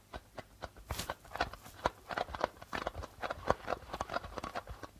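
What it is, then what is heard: Darbuka drum with plastic head. Flat fingers tap rapidly on the plastic membrane of a hollow darbuka drum. About two dozen quick, dry taps land in an uneven rhythm, each dying away almost instantly with a hollow midrange knock.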